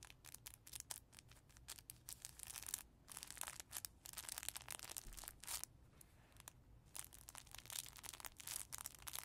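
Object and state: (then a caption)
Crinkly fabric baby book. Fingertips scratch and rub the crinkly fabric page of a soft cloth baby book, open to the kangaroo page with a ribbon and a small mirror, then a flat hand presses down on it. The result is a quiet, dense stream of bright, crackling crinkles and rustles in short bursts, with brief near-silent gaps between them.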